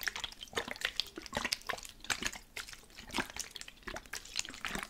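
A plastic spray bottle containing water is shaken, and the liquid sloshes and splashes inside in quick, bright, irregular bursts. The sound is mostly high and watery, with very little low end.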